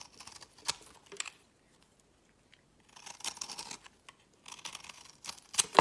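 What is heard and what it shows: A utility knife blade shaves a solid oval bar of mottled green soap, pressed from green scraps and held in the fingers, giving off crumbly powder. Three bursts of dry, crackly scraping come with quiet pauses between them, sitting in the mid to high range with almost no low end. Each stroke has short, sharp crunches that stop instantly.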